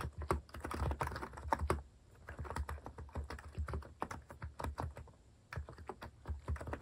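Fingertips type continuously on a compact white plastic mechanical keyboard with cat keycaps, producing a steady stream of short, clacky keystrokes with a soft, thuddy low end. Each tap dies away almost instantly, and the rhythm loosens into lighter, quieter strokes briefly around the second and fifth seconds before picking back up.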